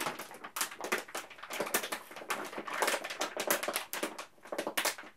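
A large yellow printed plastic M&M's candy bag filled with candies is held in both hands and crinkled and squeezed at the top with the fingers. Dense, bright crackling crinkles come in rapid irregular bursts with almost no low end.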